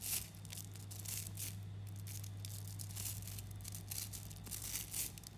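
Fingers knead a handful-sized clump of about 11,000 small 3 mm neodymium magnetic balls, pulling their chains apart so the solid metal spheres click and crackle against each other in dense, bright, rustling bursts. A steady low hum runs beneath the clicking throughout.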